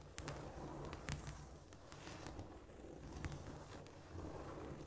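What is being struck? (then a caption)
Cork floor. Long pointed nails tap and scratch across a flat, solid cork floor, making quiet, scurrying clicks. Brief bright ticks stand out over a soft, low rumbling bed of scraping.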